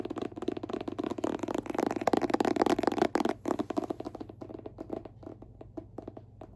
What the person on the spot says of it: they're all hard cover. So, fun to tap and scratch on.